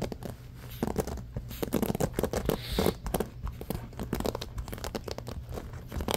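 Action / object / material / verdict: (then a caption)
scrape / bamboo paddle hairbrush with rubber cushion and pins / bamboo / none. Fingertips and nails scratch fast across the wooden-tipped pins of a small rectangular bamboo paddle hairbrush with a black rubber cushion, lying on a beige blanket. The result is a dense run of quick, dry, crackling scratches and brief bursts over a low, steady rumble.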